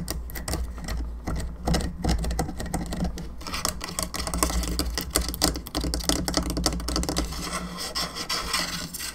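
Long nails tap and scratch across the bone arms and the top of the cranium of a hollow plastic skull candelabra lamp, making a rapid run of dry, bright clicks and raspy scrapes. A steady low hum runs beneath the tapping throughout.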